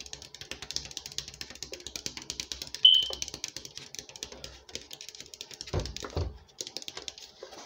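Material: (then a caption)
Plastic. A 2-litre PET Coca-Cola bottle, hollow and full of dark soda, is scratched and tapped with fingernails on the plastic and the label near the shoulder. Rapid, dense, crisp clicks and scratches sit mostly in the high frequencies, with a brief bright tonal squeak near 3 kHz around the third second. Two louder, deeper thumps come just before the sixth and at about the sixth second.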